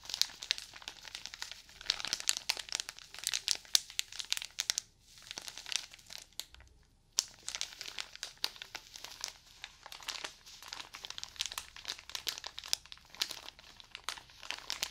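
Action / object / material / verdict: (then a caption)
scrape / stack of cotton pads in thin plastic wrap / plastic film / none. Fingers squeeze and crinkle the thin, pink-printed plastic wrap around a cylindrical stack of cotton pads. The result is dense, bright crackling made of many quick, sharp crinkles. The crackling pauses briefly near the 5-second mark and again just before 7 seconds, then resumes steadily to the end.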